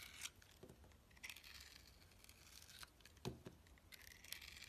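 A box cutter blade shaves and cuts the sides of a solid white soap bar with a blue crust, held in the hand. Soft, bright scraping strokes come in short bursts, with a few sharper cuts and dull low thumps over a quiet background hiss.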